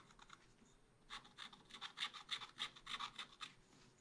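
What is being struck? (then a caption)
Wax-coated scratch art paper scraped with a wooden stylus. A wooden stylus scrapes across a black coated scratch art paper page in a small spiral pad. After a faint, quiet opening, a quick, uneven run of short, dry scratching strokes follows, with a bright, hissy tone. Each stroke stops cleanly without any ring.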